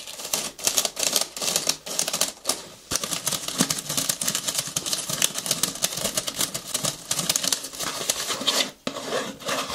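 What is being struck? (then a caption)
Small paper gift bag. Long nails tap and scratch the sides of a small, hollow cream-and-gold patterned paper gift bag with rope handles and a gold ribbon bow, held in the hands. Rapid, crisp, bright taps mix with dry papery scratching in a dense, almost continuous run, with a brief quiet dip near the end before the tapping resumes.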